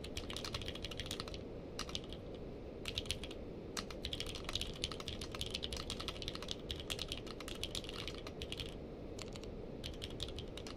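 Two hands type with the fingertips on a purple-case mechanical keyboard with plastic keycaps. Quick runs of bright, crisp keystroke clicks stop briefly between bursts over a steady low background hum.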